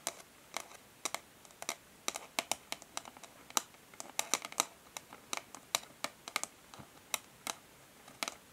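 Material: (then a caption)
Cardboard. Long fingernails on both hands tap and scratch the flat printed cardboard back of a hair brush's packaging sleeve lying on a table. Around 29 quick, sharp, bright clicks fall in an irregular rhythm, mixed with faint scratchy rasps. Each tick dies almost instantly and there is no low-end body.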